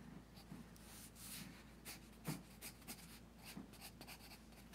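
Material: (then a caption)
Paper. A pencil's graphite tip is drawn across the page of a large open paper sketchbook lying on a teal folder on carpet. It makes a quiet, continuous scratching stroke with bright, hissy bursts over a low steady hum.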